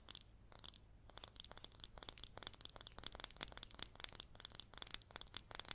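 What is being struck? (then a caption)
Glazed ceramic cactus-shaped planter. Long green nails tap and scratch a hollow, green glazed ceramic cactus-shaped pot with raised dots, held in both hands. It makes a quick, uneven run of dry, bright clicks and scrapes with almost no ring and very little low end.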